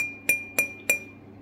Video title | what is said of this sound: La terre rouge de la briquetterie | là on a du Grais ça sonne très intéressant très très intéressant